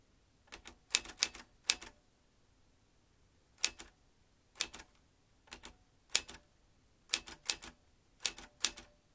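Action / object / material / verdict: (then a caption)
tap / metal manual typewriter / metal / none. Fingertips press the round keys of a vintage metal manual typewriter, making its typebars strike in quick clusters of sharp, bright clacks separated by quiet pauses. Each strike is very short with almost no low end, and the clicks center around a high 2.6 kHz tone.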